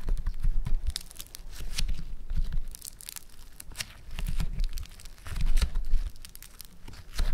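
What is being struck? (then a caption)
Foam-bead modelling clay. A small solid lump of orange Floam foam-bead clay is pinched, pressed and folded by fingertips. It makes dense crackling, crinkling snaps with low thumping pressure in bursts.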